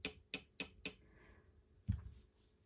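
An emu egg with a live chick inside is tapped five times: four short, clicky taps with bright upper tones, then a louder, duller low thud after a pause. It gives no porcelain-like ring, which is normal for an egg with a live chick.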